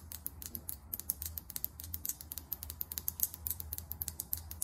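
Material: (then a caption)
Plastic. Long acrylic nails tap rapidly on the chrome-finish cap and body of a small filled lip gloss tube, making around 34 short, sharp clicks with bright high-frequency ticks. Each tap dies away almost instantly over a quiet, steady low hum.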